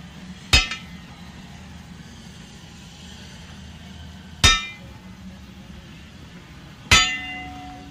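A steam train wheel is struck three times with an inspection hammer at uneven intervals, each blow giving a sharp, bright metallic clang with a brief high ring. The last strike rings on longer with lower sustained tones, over a steady low background rumble.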